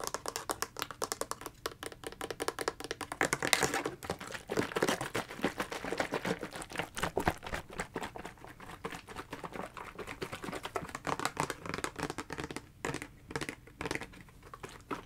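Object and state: Plastic gel ice pack.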